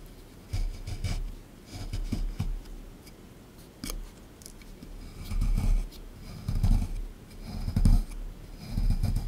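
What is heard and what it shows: A small plastic pick tool digs into and scrapes a solid beige plaster excavation block resting in a tray, with short, repeated scraping strokes that chip off crumbs. The strokes come in uneven bursts of dull, low, gritty scratching with brief bright ticks, separated by quiet pauses.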